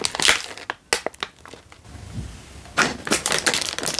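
A single full Indomie instant noodle packet in a crinkly plastic wrapper is held in one hand and crinkled with the fingertips. Sharp, bright crackling bursts fill the opening, then fade to a softer, lower rustle for a moment. Dense, bright crinkling returns through the end.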